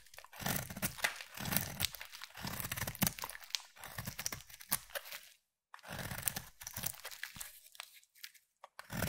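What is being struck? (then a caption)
Bar of soap cut with a blade. A utility knife blade scrapes and shaves the surface of a solid peach rectangular bar of soap. Dry, crunchy, crinkling scrapes come in quick bursts, bright with some low body, with a short silent pause partway through before the shaving resumes.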